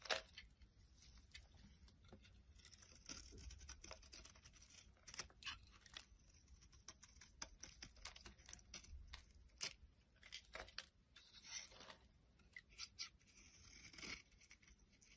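A flat blade scrapes and cuts curls off the top edge of a solid yellow bar of soap held in the hand, and the flakes pile up. The scraping is a run of bright, dry, tearing strokes, some louder than others, over a quiet low rumble.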